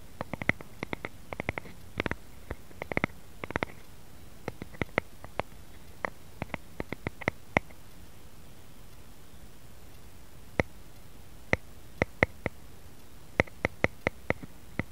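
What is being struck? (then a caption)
Wooden rice paddle. Fingertips and nails tap and scratch the broad face of a solid, light wooden rice paddle lying flat on a mat. The sharp, dry clicks come in quick irregular bursts, with short hollow resonance around 2 kHz and bright edges. A quiet pause of a couple of seconds falls midway before the tapping resumes in sparser clusters.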